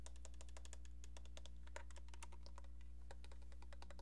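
Long painted nails tap and scratch quickly and evenly on the back of a cream-colored hollow plastic landline handset, making a dense run of light, bright clicks. A steady low hum sits underneath the quiet tapping throughout.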